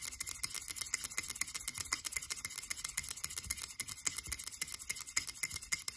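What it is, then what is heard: Frosted glass candle jar. Long acrylic nails on both hands tap and scratch fast and hard on a frosted blue glass cylindrical candle jar with a label on its base. A rapid, dense stream of sharp, bright clicks and scratchy swishes is heard, each dying away almost instantly, with very little low end.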